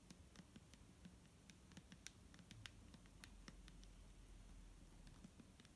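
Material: Plastic.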